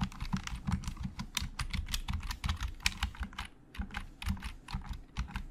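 Fingertips type on a hollow, black plastic Logitech computer keyboard, producing a rapid run of short, clicky keystrokes. Each key has a bright click over a low, hollow thump and stops almost instantly. There is a brief pause a little past the midpoint before the typing picks up again.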